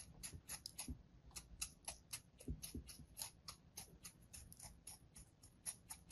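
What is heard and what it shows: A hand-sized solid slab of beige kinetic sand, held in the palm, is sliced repeatedly with a thin metal blade, giving about 22 quick, crunchy scraping cuts in an uneven rhythm. Each short cut carries a bright, high hiss over a soft low rumble, with a few duller low thumps mixed in.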